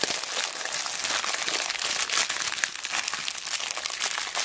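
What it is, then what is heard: Plastic zip bag of beads. A small clear plastic zip bag full of mixed colourful plastic beads and charms is squeezed and crinkled by fingertips with long black nails. It makes a dense, steady stream of bright, crackly plastic crinkling with quick crisp snaps and almost no low end.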